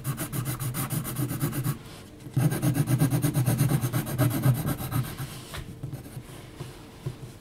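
An HB graphite pencil is scratched in short hatching strokes across a large flat sheet of heavy textured mixed-media paper, near the outline of a drawn face. Quick, rhythmic raspy strokes pause briefly, then return in a louder, denser run before tapering off into softer scratching.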